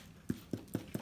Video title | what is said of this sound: Cape Town Potato Focaccia a Lockdown | the hollow sound when you tap it then you know it's done